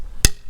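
A hammer strikes a birch dowel plugged into a tap hole in a maple tree trunk, a 1/2-inch rod driven into a 7/16-inch hole for a tight interference fit. A single short, dull, low-pitched knock with almost no ring is heard, and it sounds solid, showing the dowel is driven home and seals the hole.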